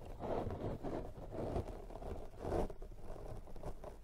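A pink silicone pastry brush brushes and scratches across a soft, porous black foam windscreen over a microphone. The result is a continuous muffled, scratchy rustle that swells and fades in uneven strokes, heavy in the low end with almost no bright content.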